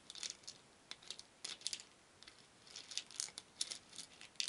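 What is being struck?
Small wooden beads in a wooden bowl.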